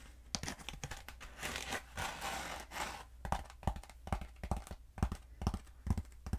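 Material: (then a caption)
Foam. Long acrylic nails scratch and tap along a long, black, hollow foam pool noodle held diagonally. Dry, crinkly scratching strokes mix with sharp, irregular taps over a steady low hum.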